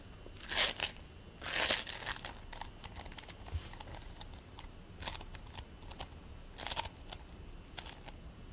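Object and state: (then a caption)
Play foam (polystyrene bead foam). A fist-sized ball of purple and white play foam made of polystyrene beads is squeezed and rolled between the palms and pressed with the fingertips. It gives off irregular, bright crunching and crinkling crackles, with louder bursts near the start and a few more later, over a quiet background.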